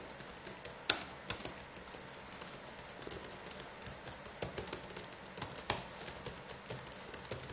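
Gloved fingertips type rapidly with both hands on a black laptop keyboard with plastic keys, producing a steady stream of light, bright clicks. The clicks are short and crisp, with a few louder taps standing out near the start and middle.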